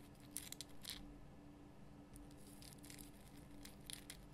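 Long fingernails scratch the rough crystal surface of a large pink Himalayan rock salt lamp. Quiet bursts of bright, gritty scratching come and go over a steady low hum.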